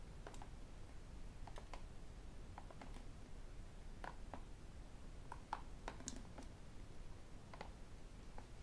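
A medium-size, hollow white and black plastic sports bottle is held upright and tapped with fingertips and metal rings. Quick, light, clicky taps with very short decay come in irregular bursts over a steady low background rumble.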